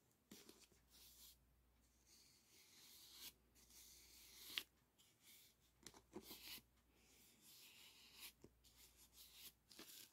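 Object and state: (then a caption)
Aluminum foil flexible duct being brushed. A brush rubs along the folds of a hollow, ribbed aluminum foil flexible duct held in the hand. Soft, bright crinkling and scratchy rustles come in uneven bursts, with a few sharper crackles over a faint low hum.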